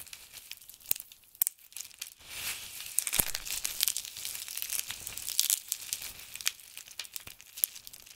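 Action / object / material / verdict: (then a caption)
scrape / pile of soap shavings / soap / none. Fingers of both hands pinch, rub and crumble small handfuls from a heap of crisp blue and grey dried soap flakes. The result is a dry, bright crinkling and crackling with many sharp ticks scattered over a steady hiss, with almost no low end.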